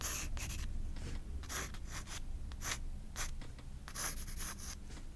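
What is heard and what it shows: A graphite pencil scratches flowing hair lines across the white paper page of a spiral sketchbook. Quick, bright, scratchy strokes come in short bursts over a steady low hum, with brief pauses between strokes.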